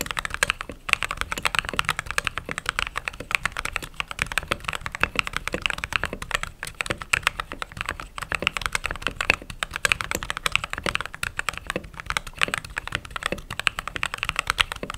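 Fingertips type steadily on a mechanical keyboard with white/cream plastic keycaps, producing a rapid, continuous stream of short, crisp clacks. The keystrokes are bright and dry, with little low end and no ring after each press.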